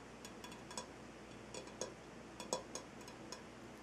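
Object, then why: Rock-salt lamp. A ringed hand taps and scratches the side of a large, solid, lit Himalayan rock-salt lamp with fingertips and nails. Ten quiet, short, dry taps with bright clicky edges and a faint low-mid tone sound over a steady soft hiss, each dying away almost at once.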